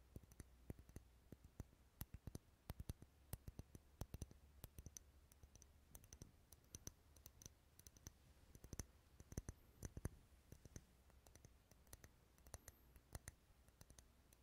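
Wax candles sitting in a bowl as decoration, rarely lit, are tapped over and over in a long stretch. The taps give dense, short, dry clicks over a low steady hum.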